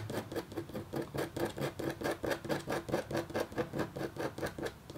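A red-handled, metal-tipped stylus makes quick, repeated scratches across a flat, black-coated copper foil scratch art sheet. About twenty short, dry scratching strokes come in a fairly steady rhythm, with a quiet, papery rasp centered in the midrange and faint bright edges. Each stroke stops almost at once.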